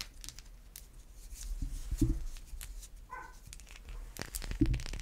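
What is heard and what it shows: A solid white bar of soap is scratched and tapped with long white acrylic nails. The result is a string of dry, crinkly scratches and soft clicks over a low hum. Louder taps land around the two-second mark and near the end.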